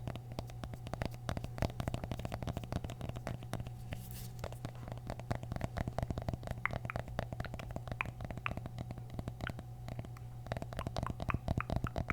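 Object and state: Mini pumpkin tapping.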